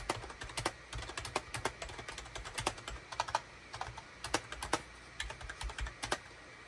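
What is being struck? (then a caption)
Plastic computer keyboard. Fingertips of both hands type rapidly on a full-size gray, cream and orange SHIPADOO K600 wired USB plastic keyboard with a hollow plastic housing, resting on a desk mat. The result is a quick, uneven stream of short, sharp, bright clacks that stop almost instantly, over a faint steady hiss.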